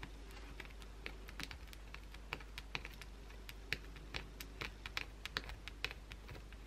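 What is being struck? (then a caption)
Soap bar scratched by acrylic nails. Long blue acrylic nails aggressively scratch the surface of a solid white bar of soap held in the hand, leaving visible shavings. The clip is a rapid, irregular series of short, sharp, bright scratching clicks that stop dead with almost no ring, heard over a steady low hum.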